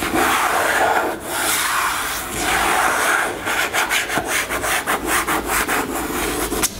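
Long nails scratch a white-green plastic cosmetic squeeze tube lying on a table. A steady, bright rasping rub comes first, then breaks into a quick series of short, rhythmic scratching strokes.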